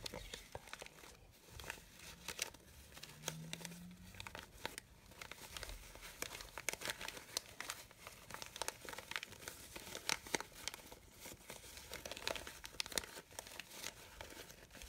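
A red satin-like fabric rose with rolled petals is squeezed and rubbed with fingertips and long nails. It makes a steady, bright crinkling rustle dotted with many quick, sharp crackles and taps that die away almost instantly.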